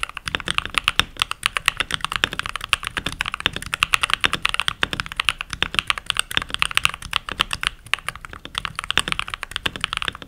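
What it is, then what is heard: Plastic mechanical keyboard. Fingertips with short nails and rings type continuously on a full-size backlit mechanical keyboard with pink plastic keycaps. The result is a steady, rapid stream of bright, dry plastic clacks with almost no ring and very little low end.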